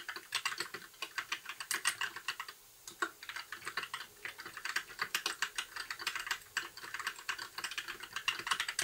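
Continuous typing on a compact white 60% mechanical keyboard with plastic keycaps and RGB backlight, pressed with the fingertips of both hands. Rapid, bright, clacky key presses with very short decay and no low-end thump run throughout, with a brief pause just before the third second.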